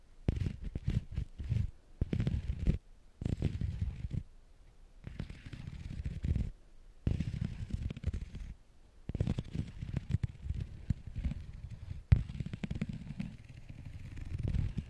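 Two metal carving tools with wooden handles scratch across a flat, brown, grained pebbled leather sheet, with glass perfume bottles sitting untouched in the background. The sound comes in bursts of dense, dry, crackling scrapes and quick ticks, mostly low and muffled, separated by short quiet pauses. Each tick stops almost at once, with no ring.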